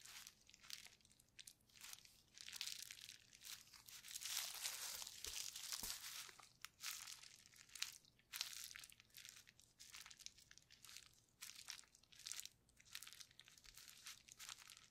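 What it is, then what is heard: Plastic bubble wrap sheet. Gloved hands press and rub a painted, clear plastic bubble wrap sheet with hollow bubbles, lying flat on a table, using palms and fingers. The result is dense, bright crinkling and crackling in uneven bursts, with almost no low end and no ringing between the rustles.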